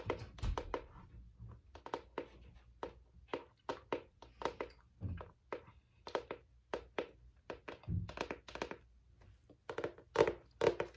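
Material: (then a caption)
Cardboard. Fingertips and long nails tap and scratch the cover of a large striped cardboard hardcover spiral notebook held flat. The result is a quick, irregular run of short, dry thunks and clicks with soft scratchy rustles between them. Each tap dies away almost instantly.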